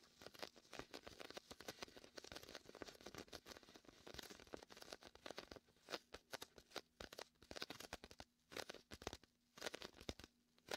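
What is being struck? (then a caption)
Inflatable PVC beach ball. Fingertips and a palm press on the sticky surface of a large, hollow, air-filled red-and-white inflatable PVC vinyl beach ball and peel off it. Rapid, crackly peeling and tearing sounds come in dense bursts, then sparser snaps, each dying away almost instantly with a bright, crinkly edge. A faint steady low hum sits underneath.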